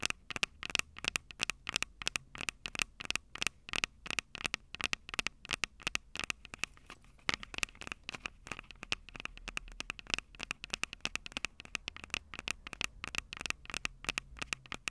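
Long purple nails rapidly tap and scratch the two metal mic capsule heads of a small Tascam DR-05 handheld recorder with a plastic body. The sound is a fast, dense run of crisp, bright clicks and scratchy ticks that stop almost instantly, with very little low end.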